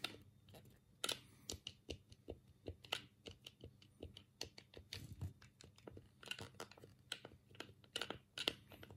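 A black, hollow plastic Sega Mega Drive controller is held in both hands while the thumbs click its D-pad and A, B and C buttons. About two dozen short, dry, bright plastic clicks come in an uneven run, each dying almost at once, with a faint low hum underneath.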